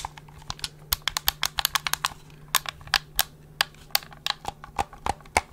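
Fingertips tap and click the buttons, triggers and hollow plastic housing of a black plastic gamepad held close to the mic. About 23 sharp, dry clicks and taps ring out in an uneven rhythm, bright and very short, over a faint steady low hum.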